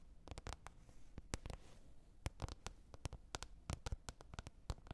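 Long red nails tap on a green plastic container lid, making about 23 quick, dry clicks in an uneven rhythm. Each tap is a sharp, bright click with a soft low thump underneath that dies away almost at once. Between taps there is a faint hiss, and a brief soft brushing sound comes early on.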